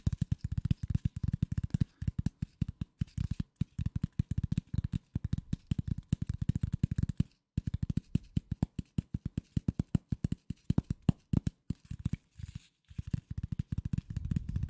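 A flat piece of corrugated cardboard, held in both hands, is scratched with the fingertips, making rapid bursts of short, dry scratching taps. The sound is muffled and low, with no ring, and falls quiet in brief pauses before a softer rustling swell at the end.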